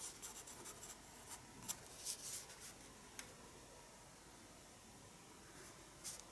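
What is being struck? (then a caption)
Pencil on a paper sketchbook page. A pencil scratches repeated short strokes on the paper page of a small spiral-bound paper sketchbook resting on a wooden desk while drawing. The quiet, bright, dry scratching comes in brief, irregular bursts over a faint steady background, with a few louder strokes standing out.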